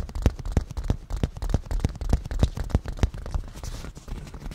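Fingernails of both hands tap fast on the padded, black grained leather surface of a cushion. The result is a quick, slightly uneven run of dull, low thumps with soft clicky tops that die away almost instantly.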